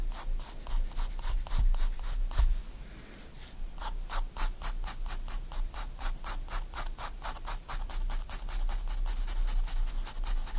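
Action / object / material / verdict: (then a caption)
scrape / graphite pencil on paper sketchbook page / paper / none. A 4B pencil rubs in heavy shading strokes across a white paper sketchbook page lying flat. Rapid, rhythmic scratchy strokes with bright, hissing bursts briefly slow near the three-second mark, then resume in a quicker, steady back-and-forth over a faint low hum.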